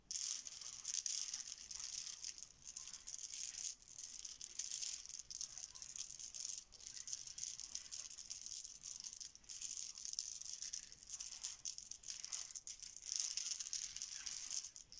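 A pile of small solid plastic Bananagrams letter tiles on a stone counter is mixed and spread with both hands and fingertips. This produces a steady, dense stream of bright, rattling clacks at a quiet level, with no low end and a few louder bursts of shuffling.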